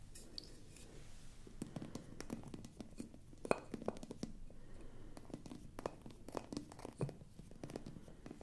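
Long nails scratch across the top of the glass stopper on a hollow, apparently empty frosted glass bottle. The result is a quiet, continuous scratchy rasp with scattered sharp ticks and clicks that stop dead without ringing. The sound sits mostly in the low-mid range, with little bright content.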